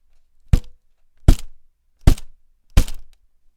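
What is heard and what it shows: A year-old happy birthday foil balloon on a stick, still as inflated as ever, is tapped against a hand four times. Each tap gives a dull, low thunk with a brief papery rustle and almost no ring.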